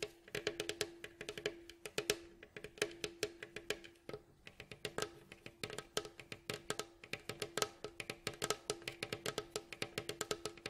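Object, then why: Wooden mandolin bowl back. Fingertips and nails tap and scratch along the ribs and staves of a hollow, striped, varnished wooden mandolin bowl back. About 66 quick, dry knocks come in a fast, uneven stream, each with a hollow tone near 430 Hz and bright clicky edges that die away almost at once. Soft scratching fills the gaps between them.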